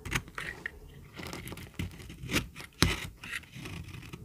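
A small, solid, peach-colored bar of very dry soap is held in the hand and shaved with a metal utility-knife blade. Brief, irregular scraping strokes come with crackling and crumbling as flakes break off. The strokes are dry and short, with bright, crisp edges over a soft low body.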